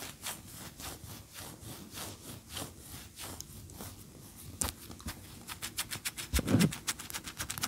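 Long fingernails scratch and rub a large, solid, cream-colored wax pillar candle standing upright. The result is a quick, uneven series of dry, bright scratching strokes over a soft low rustle, growing louder and denser toward the end, with a stronger scrape near the close.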